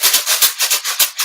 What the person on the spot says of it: you can see the difference in the sound though right